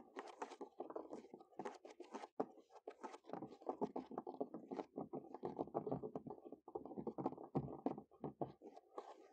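Natural fingernails scurry and tap quickly across the top of a large, solid wooden picnic table outdoors. A dense stream of rapid, dry scratching and tapping clicks, mostly low-mid in tone with a bright scratchy edge, stops short with no ring after each touch.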